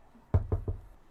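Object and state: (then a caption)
Wooden surface knocked. Three quick knocks on a wooden surface, each a short, dull thud with a low boom around 90 Hz and almost nothing bright. Every knock dies away almost at once, and the third is slightly softer than the first two.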